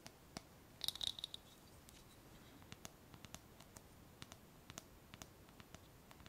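A small, clear glass jar with a wire clasp lid, closed and filled with paper pieces, is held in the hands and tapped and scratched with long painted nails. Quiet, sharp, bright clicks come in a dense cluster near the start, with a brief high ring. Lighter, scattered taps and scratches follow through the rest of the clip, each dying away almost at once.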